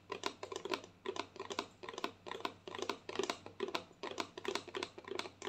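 Long nails tap rapidly on the side of a white plastic lotion bottle held diagonally, producing quick bursts of light, clicky taps. Each tap is dry and short with almost no ring, centered around 1 kHz with a bright top and almost no low end.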